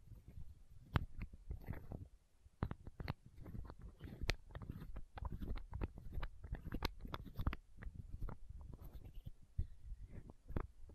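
Long nails tap and scratch a small, hollow, clear plastic eye drop bottle held close to the microphone. The result is a quick, irregular run of soft, muffled taps with a deep, boomy low end, broken by sharp, bright clicks and light scratching between them.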